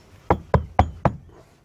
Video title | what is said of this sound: Ep. 2: Tartan 27 restoration inspection and initial walk through. | thunk and actually goes down a little bit okay that's a soft deck